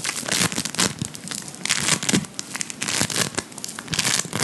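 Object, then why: Polystyrene microbead play foam. A large lump of blue beaded play foam made of polystyrene microbeads is held up and squeezed and kneaded with the fingertips. It gives a dense, crunchy crackle of beads in quick overlapping bursts, bright and dry with almost no ring after each squeeze.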